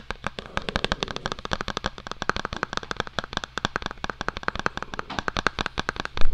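Fingertips and short nails rapidly tap and scratch the flat face of a small, hollow white cardboard Apple-style product box held close in both hands. About 46 quick, dry, crisp ticks follow one another over a faint steady low hum.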